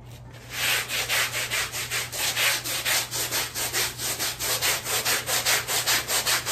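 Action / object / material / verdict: scrape / small woven fabric rug scrubbed with a stiff-bristle brush / fabric / none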